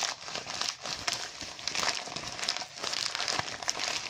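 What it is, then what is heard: Foil balloon crinkled. A deflated, thin, hollow mylar foil balloon with printed lettering is crumpled and scratched by fingertips and nails. It gives a continuous, bright, crackly crinkling with sharp high ticks and almost no low end.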